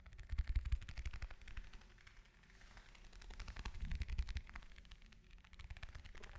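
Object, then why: Orange. An orange is tapped with fingers and nails, giving a rapid, uneven run of soft, dull taps with brief clicky edges. The taps come in dense bursts with quieter stretches between them, each dying away almost instantly with no ring, and the sound sits mostly low and muffled.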